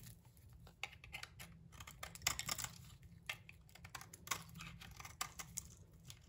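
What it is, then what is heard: Bar of soap being shaved. A metal blade scrapes and shaves the face of a solid rectangular bar of translucent amber soap with a bronze-coloured coating on its edges, held in the hand. Quiet, crisp, bright scraping and crackling ticks come in short bursts over a faint low rumble. Curls peel off and soap shavings pile up around the bar.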